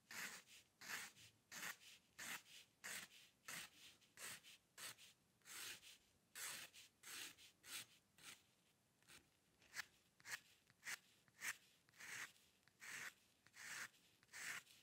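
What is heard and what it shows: A steel-nib dip pen loaded with ink scratches hair strokes across a flat sheet of white drawing paper resting on a dark table while the sheet is rotated. About 23 short, bright, dry scratches sound in a loose, uneven rhythm, each ending abruptly with no ring, and the whole clip stays quiet.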